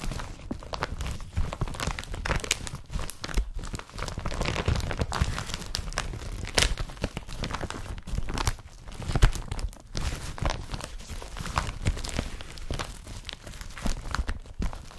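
Fingertips rub and crinkle an empty, flat, blue woven polypropylene IKEA BRATTBY carrier bag. A continuous stream of dry, crackling rustles and soft scraping crinkles plays throughout, heavy in low-frequency rumble with brief bright snaps. The sound swells slightly at a few moments and dies away instantly after each crinkle.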